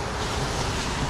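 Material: Nothing is struck.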